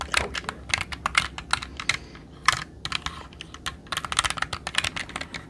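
A jade roller is rolled and pressed over the plastic keycaps of a black mechanical computer keyboard held upright. It sets off a rapid, uneven run of sharp, bright key clicks that die away almost instantly, with brief pauses between bursts.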